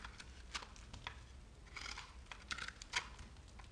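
A metal knife blade shaves and scratches the edge of a handheld solid bar of dry, crumbly, speckled green-pink soap. Short, crisp, bright scraping ticks come in quick irregular bursts, some louder than others, over a low, quiet background rumble. Each scrape cuts off almost instantly with no ring.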